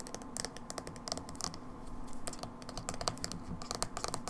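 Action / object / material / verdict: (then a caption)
tap / small plastic jar with lid / plastic / none. Long acrylic fingernails tap and scratch a small, hollow, dark blue plastic Manic Panic hair dye tub with a black lid and paper label. The result is a quick, steady patter of short, dry plastic clicks with bright ticking edges and light scratchy rasps in between, all at a soft, close level.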